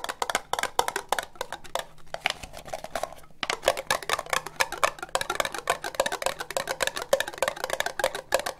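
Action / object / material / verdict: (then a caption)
tap / ribbed plastic cup / plastic / none. Long nails tap fast on a hollow, empty orange ribbed plastic cup, producing a rapid stream of dozens of short, clicky taps with a hollow tone around 535 Hz and a bright edge. Each tap dies away almost at once. The tapping eases into a softer, sparser stretch around the second to third second, then picks back up to a dense, lively pace.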